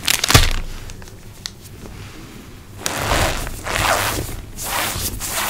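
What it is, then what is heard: Cornstarch powder squeezed by hand. A bare hand with long pink nails squeezes, rubs and crumbles a handful of loose, soft, clumpy white cornstarch (cornflour) gym chalk powder in the palm and fingers, over a surface covered in more cornstarch. A sharp crunch opens the clip, then quieter rubbing gives way to longer swells of squeaky, crunchy, bright rustling as the powder is worked.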